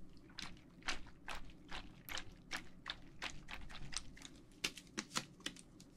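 A clear plastic tumbler filled with teal gel water beads is held upright in the hand, then shaken and rotated. The beads give a quick run of soft, bright clicks and squishy taps with very little ring, over a low, steady rumble.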